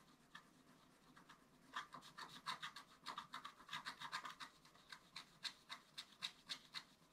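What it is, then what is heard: Scratch art paper being scratched. A wooden stylus scratches a flat, black-coated scratch-art paper card in short strokes. The result is quiet, dry, bright rasping with an uneven rhythm of about three to four strokes per second, with almost no low end.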